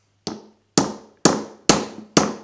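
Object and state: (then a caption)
Cracked hickory nut shell. A hickory nut resting on an iron is gently tapped with a hammer until its shell fractures. Five separate sharp taps are heard, each a bright, short crack with a low tone near 215 Hz that dies away quickly. A small cracking sound signals that the shell has fractured.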